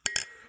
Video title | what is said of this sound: New Year special | It sounds plastic. It does. It's not plastic. Where's the crystal?